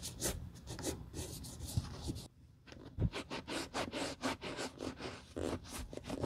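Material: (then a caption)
Patent leather. A single dark burgundy patent leather Chelsea ankle boot with an elastic side panel, hollow and empty, is held in a gloved hand and rubbed with a damp grey terry cloth over its side and heel. Short, bright rubbing and scratching strokes repeat steadily. Low-end handling noise sits underneath, with a brief quiet pause near the middle.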